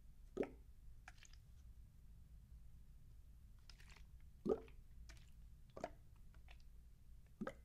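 A clear plastic bottle of micellar water cleanser with a teal cap, partly full of liquid, is held in one hand and shaken and tilted so the liquid sloshes inside. Soft, wet plops and squishy sloshes come through quietly over a steady low hum, with four louder sloshes standing out among fainter bright liquid flicks.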